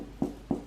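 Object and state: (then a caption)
Sourdough loaf, hollow (baked through). A freshly baked sourdough loaf, cooled and made without a Dutch oven, is tapped twice, giving two short, dull, hollow knocks with a low-mid tone that die away almost at once. The hollow sound shows the bread is baked through.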